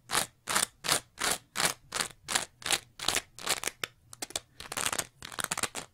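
Long nails scratch fast across a green, bumpy-textured layered foam scrub sponge with a pale foam layer, producing bright, crunchy scraping bursts. The strokes come in an even rhythm at first, then turn quicker and more irregular toward the end.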